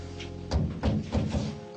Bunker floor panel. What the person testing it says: Ça fait beaucoup de place perdue, non? Ça sonne creux.